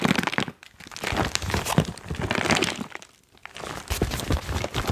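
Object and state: Foil-lined plastic chalk bag.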